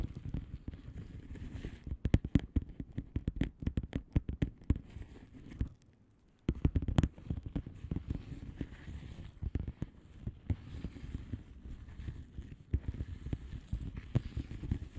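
A flat blue plastic bubble wrap mailer envelope with air-filled bubbles is tapped and scratched with the long manicured nails of both hands. Rapid, dry, low-pitched taps and scrapes patter almost continuously, pausing briefly near the six-second mark before resuming.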